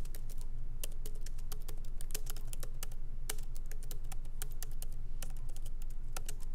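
Fingertips of both hands tap rapidly on a MacBook Pro keyboard with low-profile plastic keys set in a solid aluminum body. The result is a quick, irregular stream of short, crisp, bright clicks over a steady low hum.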